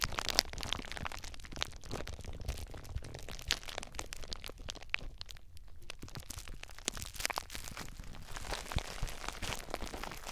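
Fingers squeeze and crinkle clear plastic bubble wrap wrapped around a recorder. A dense, continuous stream of sharp, crisp crackles and crunches pops close to the mic at a steady, quiet level, with bright plastic crinkling over a soft low rumble of handling. The crackling briefly thins around the middle before picking back up.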